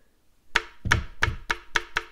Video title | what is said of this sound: 台湾で入手したもの | なんかが当たる音しますよねということでちょっとずつ隙間を開いてるんですが